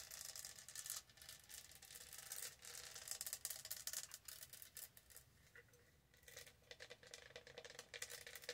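Long nails scratch and rub rapidly over the raised diamond studs of a hollow, lidded light blue studded plastic tumbler as it is rotated in both hands. The result is a dense, bright, dry rasping and clicking texture that surges and fades, softening briefly near the middle before picking up again.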